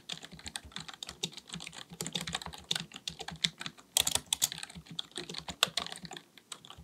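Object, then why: Plastic computer keyboard. A black full-size plastic computer keyboard on a desk is typed on with the fingertips of both hands. The result is a steady stream of rapid, bright, dry key taps with very little low end, and some clicks come slightly louder than others.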